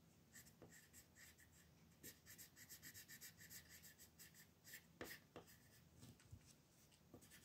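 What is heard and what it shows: A green colored pencil scratches and rubs across a thin white paper sheet printed with a mandala, lying flat on a dark table while a hand holds it still. Quiet, bright scratchy strokes come in short, irregular bursts, with a few sharper taps standing out.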